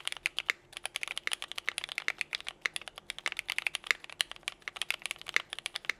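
Both hands type continuously with their fingertips on a compact 60% Nika S Tiffany mechanical keyboard with a teal case, Cherry Vintage Black switches, and white and pink GMK KA2017 ABS keycaps. About 41 quick, dry, bright plastic key taps arrive in an uneven, rapid stream. Each tap stops almost instantly, with almost no low end.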